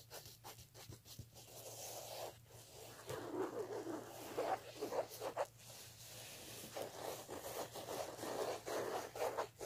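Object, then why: Woven fabric clutch bag. Fingertips and painted nails scratch and rub the woven surface of a vintage black fabric clutch with a ruffled edge and metal clasp, lying flat and likely empty on a tablecloth. Soft, dry scratching and rubbing strokes come in irregular bursts, centred in the low-mid range, over a faint steady low hum. The strokes rise and fall throughout without a clear end.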